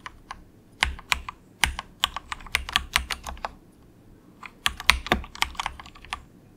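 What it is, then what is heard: Plastic mechanical keyboard. Fingertips of both hands softly type on a very cheap, compact 68-key plastic mechanical keyboard with a hollow case, resting on a desk mat. Around twenty crisp, bright clacks with almost no ring and a faint low thump come in two quick bursts separated by a brief pause.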